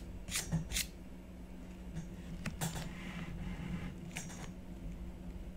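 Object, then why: Black-coated scratch-art paper on card backing. A blue stylus scratches strokes into a black-coated scratch-art sheet on a card backing while the other hand rests flat on the sheet. Short, bright, dry scratching bursts come in a few separate strokes over a steady low hum, each fading quickly.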